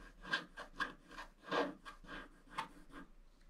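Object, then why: Wax-coated scratch art card scraped with a wooden stylus. A wooden stylus scratches lines into a black wax-coated scratch art card lying flat, working on the lower right roof area of the design. A series of short, dry scraping strokes rises and fades one after another, with a gritty, rasping texture and a bright upper edge.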